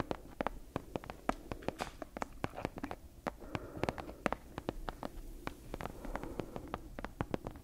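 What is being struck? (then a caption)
Leather-covered book. Long nails tap and scratch the cover and spine of a solid brown leather-covered book held in both hands. Many sharp, dry clicks ring out in an irregular rhythm over a soft, low scratching rustle, each tap dying away almost at once.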